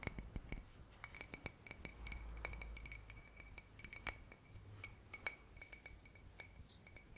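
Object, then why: Glass bottle. Fingers tap on a glass bottle, making many quick, bright clinks with a clear ringing tone near 2.2 kHz. The taps come in an irregular rhythm over a low background rumble, and each dies away almost at once.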